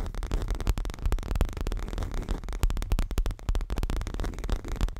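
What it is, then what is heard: Leather cushion. Fingertips and nails tap and scratch the lower front of a stuffed, dark grey leather throw pillow. The result is a dense, rapid run of soft, deep thuds with very short decay, blended with faint scratchy rustling.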